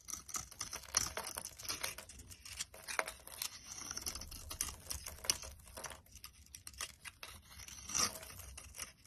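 A box cutter blade scrapes and chips dry flakes off a solid, hand-sized pale cream bar of soap. Bright, crisp scraping and crackling come in quick bursts with sharp snaps, quiet between strokes and with very little low end.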